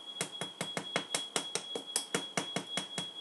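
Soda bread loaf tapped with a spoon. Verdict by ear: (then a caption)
Hollow. A freshly baked soda bread loaf, just out of the oven, is tapped with a spoon about 12 times in quick succession, each tap a short, dry, hollow knock. A steady high-pitched tone runs underneath throughout. The hollow sound shows the bread is baked through, and it has a big, deep crust.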